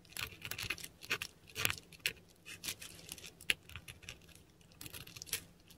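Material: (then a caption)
Paper. A metal dip pen nib scratches across a flat sheet of textured Korean paper while writing Cyrillic letters. The result is a run of dry, bright scratching strokes and small ticks, each dying away almost at once, with a faint low hum underneath.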